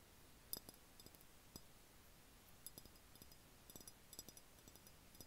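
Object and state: Empty glass jar.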